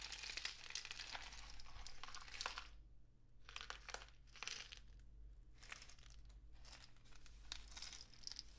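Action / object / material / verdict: shake / cardboard rain stick tube with loose filling / cardboard / none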